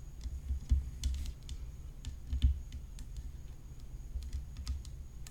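Long fingernails tap the hollow composite rim of a graphite composite tennis racket whose head is decorated with rhinestones. The result is a quiet, irregular series of short, bright clicks, with a few louder taps, over a steady low rumble and a faint high whine.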